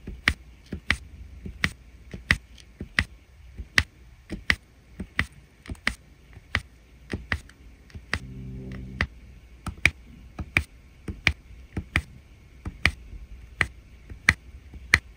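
A plastic drill pen repeatedly taps and places small faceted resin drills into the gold section of a resin rhinestone diamond painting canvas, working the same area. About 23 short, crisp clicks with a bright ringing tick ring out at an uneven pace over a quiet background. A brief low humming tone rises under the taps around the middle of the clip.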